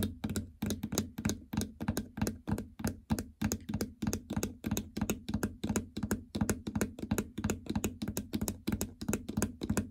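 Fingernails tap repeatedly on the plastic membrane keypad buttons and surrounding panel of a treadmill console with a hollow housing. The result is a quick, uneven stream of short, dry clicks, each with a low hollow thunk and almost no ring.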